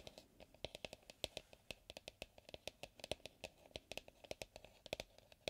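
Fingers and fingertips tap and scratch the outer wall of an empty medium white plastic mixing bowl with a pouring spout, held upright on a wooden table. A quick, uneven string of soft, short taps sounds hollow, with a ring around 600 Hz and a bright, clicky top and faint scratching between the taps.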